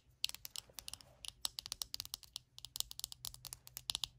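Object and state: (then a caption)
Plastic hairbrush. Long acrylic nails tap quickly on the hollow back shell of a small glossy purple plastic detangling hairbrush lying on a blanket. A rapid, uneven run of about 28 sharp, bright clicks follows, each dying away instantly with no ring, over a faint low hum.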